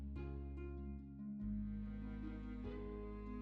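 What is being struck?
Nothing is struck.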